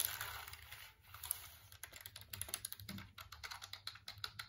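A black, hollow plastic computer keyboard is held in front of the face while fingertips tap and click its keys. The clip opens with a soft, bright rustling hiss, then gives way to a rapid run of short, dry clicks that stop almost instantly, with bright highs and little low end.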